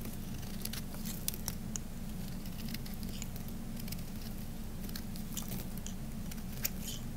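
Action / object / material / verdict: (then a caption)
scrape / bar of soap shaved with a knife / soap / none. A knife blade shaves thin flakes off a dry, solid peach-orange Camay bar soap that has been carved flat and is held in the hand. Soft, bright scraping and crisp ticks scatter over a steady low hum, with a few sharper clicks standing out.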